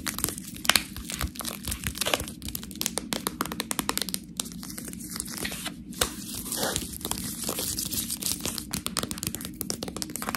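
Long nails scratch the front and label of a full plastic package of fresh Priano cheese tortellini. Dense, bright crinkling and scratchy rustles fill the clip, with many sharp little ticks and a steady low hum underneath.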